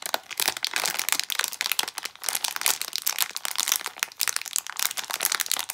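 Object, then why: Plastic foil packet. A small plastic foil blind bag is picked up from the counter, then crinkled and pulled at the seal with fingertips and long nails. The result is a dense, continuous run of bright, crackly crinkles and sharp little snaps with almost no low end.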